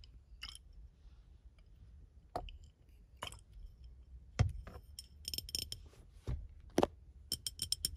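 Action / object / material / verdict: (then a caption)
tap / glass bottle / glass / none. Painted fingernails tap and scratch a clear, medium-sized, hollow, empty glass bottle held in front of a steering wheel. Sharp, bright clicks and clinks come at irregular intervals, with faint scratching between them and short rings that die away quickly over low background rumble.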